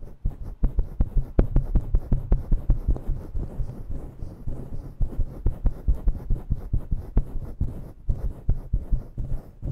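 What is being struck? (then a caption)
Synthetic-fur microphone windscreen. Long bare nails scratch a grey and black synthetic-fur microphone windscreen fast and intensely with both hands. The result is a dense, muffled low rumble of rapid, uneven thumping strokes, about two to three per second, with almost no high end.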